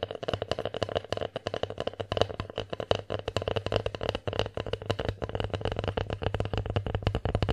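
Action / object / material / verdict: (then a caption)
tap / bear-shaped wooden divided plate / wood / none. Long nails tap rapidly on the front and rim of a solid wood, bear-shaped divided plate. The result is a steady stream of quick, dry taps with a woody knock around 480 Hz and very little ring.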